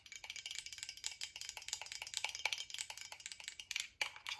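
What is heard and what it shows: Long acrylic nails tap rapidly on a tall VOSS glass bottle with a silver cap, partly filled with a yellowish liquid, striking both the glass and the cap. The run of quick, quiet taps sounds bright and clicky, with a faint glassy tone near 2.3 kHz, and each tap dies away almost instantly with no low end.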